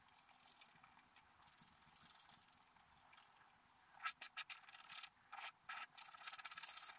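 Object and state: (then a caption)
Scratch-art paper card being scraped. A wooden stylus scratches a squirrel shape into a black-coated scratch-art paper card held flat. Soft, dry, high-pitched scratching strokes come in uneven short bursts, quiet at first, then louder, brighter scrapes with brief pauses toward the end.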